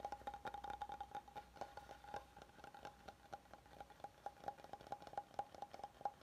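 Fingernails on both hands tap and scratch the flat, grained face of an oval solid wooden cutting board held upright. Quick, irregular dry taps sound over a soft scratching rustle, with a faint hollow tone near 800 Hz. Each tap dies away almost at once.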